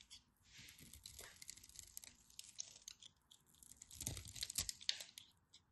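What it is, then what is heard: Dry bar soap carved into crunchy cubes. A blade carves crunchy cubes off the end of a solid, dry pink-and-white striped bar soap held in the fingers. Bright, dry crackling and crunching comes in quick, irregular bursts, growing louder and denser near the end before trailing off.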